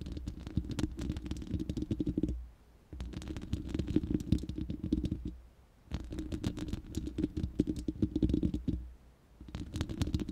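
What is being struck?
Steel mesh microphone grille.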